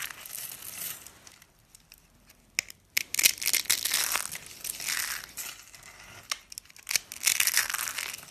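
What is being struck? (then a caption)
Soap curls and flakes. Cream-colored dry soap curls and flakes, solid and brittle, are crushed in the fingers and scattered by hand on a countertop. Bright, dry crunching and crinkling comes in bursts, with a quiet lull near the start and a few sharp snaps.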